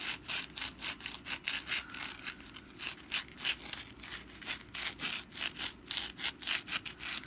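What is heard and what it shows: Long black nails scratch the textured surface of a hand-sized, rust-brown papier-mâché pumpkin decoration held in the hand. The result is a quiet, dry, bright rasping in quick, slightly uneven strokes, about three to four per second, with almost no low end.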